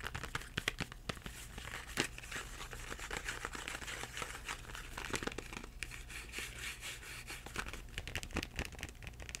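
Fingertips tap the back and front of a Crayola cardboard crayon box with crayons inside. They make a steady stream of soft, rapid, papery taps with a dry, crinkly texture and very little ring. A constant low hum sits underneath.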